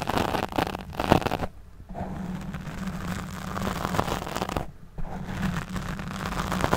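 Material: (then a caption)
Foam. Long nails scratch the black foam windscreen over a studio microphone, producing dense, crackling, close-up scraping with a low rumble underneath. The scratching comes in bursts, briefly dropping to near-silence twice before resuming.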